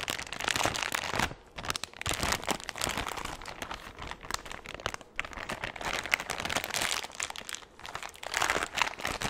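A large, empty, thin clear plastic bag is held close to a microphone and scrunched and rubbed with both hands. Dense, bright crinkling and crackling comes in bursts, with brief quieter pauses near 1.5, 5 and 8 seconds, and very little low end.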